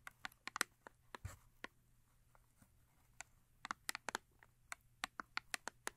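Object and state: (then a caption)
Cardboard soap box tapped and scratched with nails. Long acrylic nails tap and scratch the face of a small Yardley cardboard soap box, full with a bar of soap. About 19 crisp, bright clicks come in quick, irregular bursts, each dying away almost instantly, with a brief softer scratch near the start. The result is a quiet, dry, close-up tapping with little low end.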